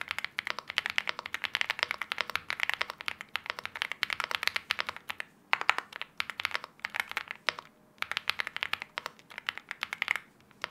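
A 75% LEOBOG Hi75 mechanical keyboard with an aluminium case, KTT Wine Red linear switches and wine red plastic keycaps, sitting on a desk mat, is typed on steadily by both hands with the fingertips. A dense stream of short, crisp key clacks rings out with a bright, mid-high tone and almost no low end, with brief pauses around the 5.5 and 7.8 second marks.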